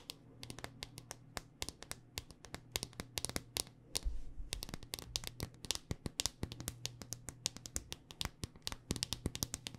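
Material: Hard plastic.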